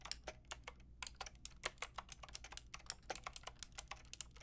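Fingertips and long nails type on a full pink, grey and white mechanical keyboard with round plastic keycaps. About 27 sharp, bright plastic clicks and clacks come in a quick, uneven run, each dying away almost instantly. A faint, steady low hum sits underneath.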